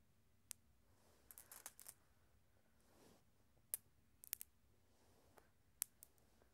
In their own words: Glass marbles making some sounds and rolling around.